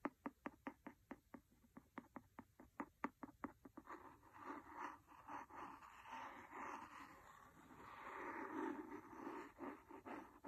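A wooden pencil taps rapidly on the cover of a large, solid, red cloth-covered hardcover book, giving about twenty short, dry, quickly decaying taps over the first four seconds. The taps then blur into a continuous rough, scratchy rubbing across the cloth cover for the rest of the clip.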